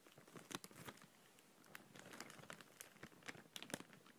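Fingers with long nails gently stroke and crinkle an empty clear plastic bag held at the side. Soft, irregular crinkles and sharp bright crackles come in bursts over a quiet hiss, each snap dying out almost at once.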